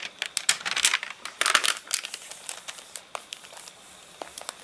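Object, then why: Glossy paper catalogue pages. Fingertips scratch and rub over the wavy, dried-out glossy pages of an open paper catalogue that has been dried after getting rained on. Bright, dry crinkling and crackling come in dense bursts at first, then thin out into sparser sharp ticks and rustles. Each snap stops almost at once, with no low rumble beneath.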